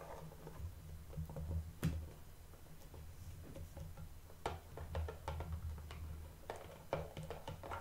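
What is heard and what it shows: A small, hollow, shrink-wrapped printed cardboard blind box with a toy figure inside is held in both hands and tapped with long painted nails. The result is a quiet, irregular patter of short, crisp clicks and soft knocks over a steady low hum. Each tap fades almost immediately.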